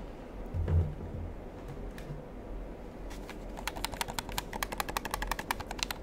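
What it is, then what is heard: Plastic game controller buttons clicking. A black plastic gamepad is held in the hand close to the mic while fingers press its buttons and triggers. Soft low handling rumble and a few faint ticks come first, then a rapid run of sharp, bright plastic clicks fills the second half.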